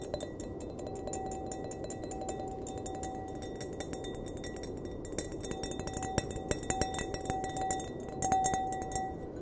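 Fingernails tap on a clear, empty glass wine glass, making quick, irregular clinks over a steady hissing background. A faint mid-pitched ring hums between taps, and a few sharper, louder clicks stand out near the end.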